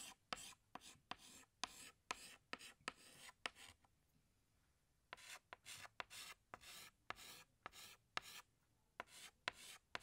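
A hand scratches a green chalk stick across a large flat black chalkboard while drawing leaves. About twenty short, bright, gritty strokes come in quick runs, with a quiet pause of about a second and a half near the middle. Each stroke stops dead, with no ring.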